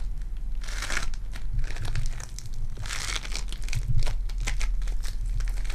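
Sticky purple foam-bead clay is squeezed in a fist and stretched between both hands, giving off dense, crinkly crackling with bright bursts of popping beads. A steady low hum runs underneath throughout.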